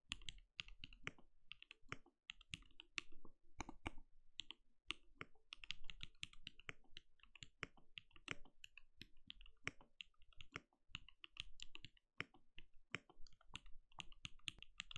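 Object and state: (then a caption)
Mechanical keyboard with plastic keycaps. Steady typing with the bare fingertips of both hands on a compact RGB-lit mechanical keyboard with a translucent plastic case and plastic keycaps, resting on a desk. The result is a continuous stream of short, dry clicks, each with a low thump and a bright clack that dies away almost instantly.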